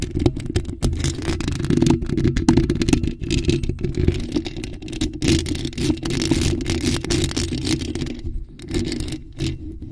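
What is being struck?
Metal mesh microphone grille.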